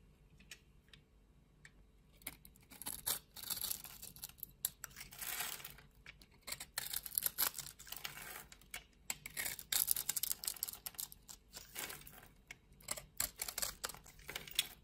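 A utility knife blade cuts into a hand-held solid pink soap bar scored in a grid and scrapes off small soap cubes, while long red nails hold the bar. The result is a quiet run of crisp, bright scraping and crumbly crunching sounds in short, rapid bursts, with a few louder cuts and very little low end.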